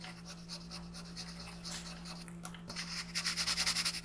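A green colored pencil shades a thin printed paper sheet lying flat on a wooden desk with repeated back-and-forth rubbing strokes. The strokes make a bright, scratchy rasp over a faint, steady low hum. The strokes grow louder and more distinctly pulsed toward the end.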